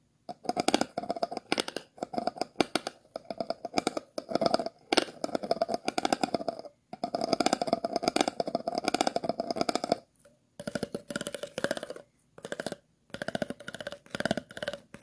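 A thin stick is scratched and tapped across the bottom ridges of an empty, hollow clear plastic water bottle. Rapid, dry ridged clicking comes in short bursts separated by brief pauses, with a hollow mid-range tone and a bright, crisp edge.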